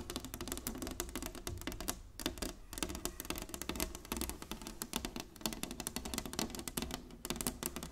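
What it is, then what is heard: Wooden chessboard tapped with nails. Long nails tap rapidly on the surface of a large, flat inlaid wooden chessboard, making a dense run of short, dry clicks with bright, crisp tops over a low hum. The taps cluster into irregular bursts that die away almost instantly, with one brief pause near the two-second mark.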